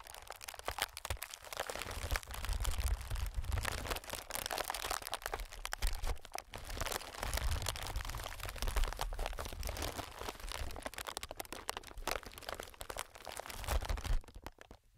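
Fingertips of both hands tap and scratch on a clear, inflated plastic-film air packing pillow. The result is a continuous, dense stream of crinkly crackles and soft taps, with a low, hollow thump under bright, papery scratching. It eases off and quiets near the end.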